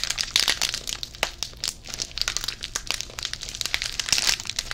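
A small, full yellow inner foil packet from a Pepero box is crinkled and squeezed between the fingers. The result is a dense stream of sharp, bright crackles and crinkles that swell into louder bursts and fade quickly, with almost no low end.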